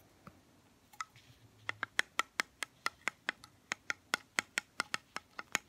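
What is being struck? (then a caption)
Small metal candle tin. Painted fingernails tap and scratch around the rim and sides of a small round metal tin holding a soy candle, its lid off and the wax visible. A few soft scratches come first, then a steady run of crisp, bright metallic taps that stop almost instantly, 21 hits in all.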